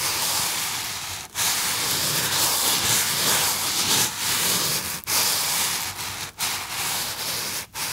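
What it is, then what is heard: Polystyrene foam box being rubbed. A small white polystyrene foam box is held up in both hands while fingertips rub and squeeze the foam. The result is a steady, bright, hissing squeak-and-scratch texture with little low end, broken by four brief pauses.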